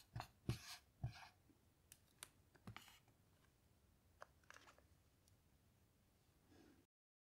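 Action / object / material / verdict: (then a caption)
scrape / small melamine whiteboard with dry-erase marker / melamine / none. A black dry-erase marker finishes writing a sentence on a small melamine lap whiteboard lying flat, then underlines a word. Quiet, uneven taps and short squeaky strokes are heard, with a few stronger hits near the start. The clip ends on a soft, longer scrape.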